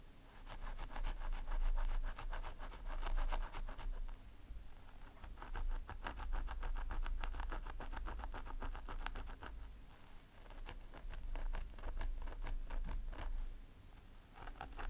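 Fingertips and medium-length nails of both hands dig into a long blonde synthetic-fibre wig on a head form and scratch the scalp area continuously. The result is a dense, steady rustle of fibre scratching with many quick crackling strokes over a low, muffled rumble.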